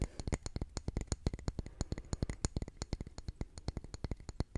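Fingernails rapidly tap and scratch a solid grey concrete calendar block engraved with month names, held in the hand. The result is a quick, uneven run of dozens of short, dry knocks with a dull, low body and faint bright clicky edges. Each knock dies away almost instantly with no ring.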